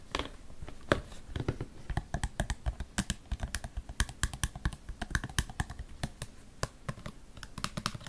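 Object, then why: Slotted plastic storage basket. A small, hollow, empty white plastic storage basket with vertical slots is held upside down in one hand and tapped rapidly with long painted fingernails. The result is a quick, irregular stream of dozens of short, dry clicks, each with a low hollow thump and no ring.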